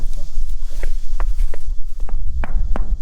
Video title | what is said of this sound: One of the WORST Jobs on the Farm. | he's knocking on this, so you can hear the hollow